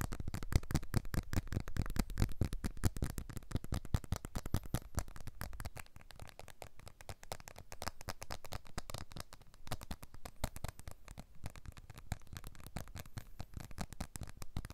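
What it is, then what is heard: Glass-backed smartphone. A blue iPhone 12 smartphone with a glass back and aluminium frame is held upright close to the mic while fingertips and nails tap quickly on its glass back. The result is a dense stream of dry, short clicks and taps, strongest and boomiest in the first few seconds and then softer and lighter.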